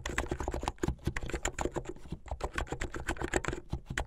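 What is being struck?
Plastic computer keyboard.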